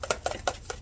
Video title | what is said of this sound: Seed Gathering with Mom, Fix It | You can hear all of them falling down inside.